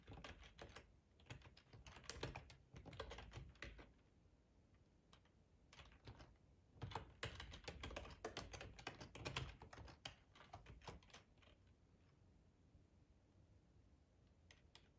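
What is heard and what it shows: Fingertips of both hands type on a black plastic ergonomic split computer keyboard with a hollow housing, lying on a tablecloth. Rapid bursts of short, clicky key taps with a dull, hollow low thump come in irregular runs. They are broken by quieter pauses, and the clip thins to sparse taps toward the end.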